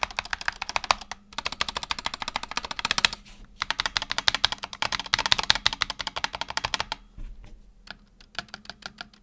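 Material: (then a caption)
Plastic. Fingertips type quickly on a black tenkeyless Razer Huntsman Tournament Edition keyboard with optical switches and PBT plastic keycaps, tapping individual keys and the number row. Dense runs of short, bright, clacky keystrokes pause briefly twice, then thin out into slower, sparser taps near the end.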